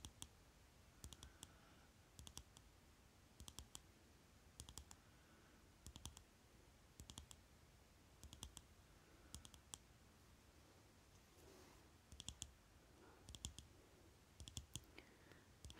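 Fingernails tap and click on a small rectangular Maybelline lipstick tube with a metallic-look plastic body and cap, held in both hands. Short bursts of crisp, bright clicks come in small clusters about every second, each dying away almost instantly, over a quiet low hum.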